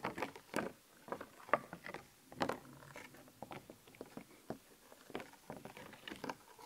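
Long painted nails scratch and tap across the raised stickers on a thin, flat, glossy plastic sheet of black-and-white skeleton-animal stickers held in one hand. Quiet, irregular crisp clicks and short, scratchy plastic rustles come in an uneven string, bright but centered in the midrange. Each sound ends dry and instantly, with no ring.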